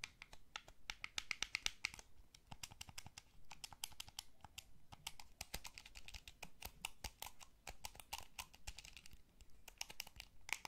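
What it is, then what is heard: Plastic game controller. Fingertips rapidly tap and press the face buttons and d-pad of a small, hollow, blue wired plastic gamepad. The result is a quiet, dense stream of sharp, bright plastic clicks that die away almost instantly, arriving in irregular bursts with brief pauses and a faint low rumble underneath.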